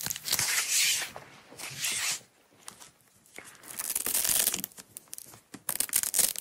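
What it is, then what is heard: Nylon hook-and-loop strap being peeled. A small yellow nylon hook-and-loop (Velcro) strap, rolled up on a table, is unrolled and peeled apart by long-nailed fingertips. Bright, hissy ripping tears come in long, sustained pulls, broken by quiet pauses, then give way to quicker, choppier tearing bursts near the end.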